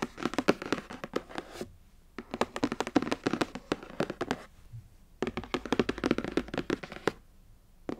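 Both hands tap quickly with long acrylic nails and fingertips on the top of a long, rectangular, printed cardboard box for a Mermade hair waver, which is closed, hollow and lying flat. Rapid, dry, hollow clicking taps come in three dense bursts separated by short pauses, with one last tap at the very end.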